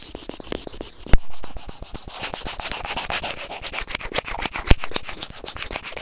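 White plastic tweezers rub and scrape across a white plastic earphone inline remote and microphone resting on felt. A rapid run of short, dry scratching strokes with a bright, rasping edge, broken by two sharper, louder clicks near the start and toward the end.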